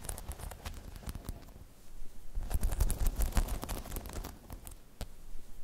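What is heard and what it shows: Long chrome nails tap and scratch across the spikes of a hollow, spiky rubber half-dome balance pod. The result is a quick, irregular patter of soft clicks and scraping crackles, with a low, hollow thump underneath. It swells into a denser, louder flurry in the middle before easing off.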